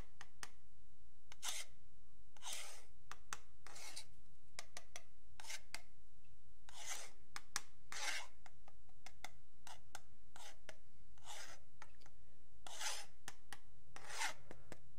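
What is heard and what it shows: A metal pen tip scratches along the surface and edge of a long, flat, solid wooden yardstick while fingertips rest on it. Repeated raspy, bright scraping strokes alternate with short sharp ticks over a steady low hum.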